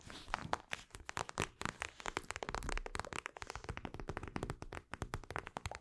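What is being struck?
Plastic eye mask filled with gel beads.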